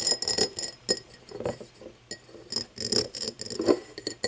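Long nails tap and scratch the side and base of an empty, hollow cut-crystal tumbler lying on its side. Quick, bright glassy clinks with short rings mix with softer scraping rubs in an uneven run of bursts.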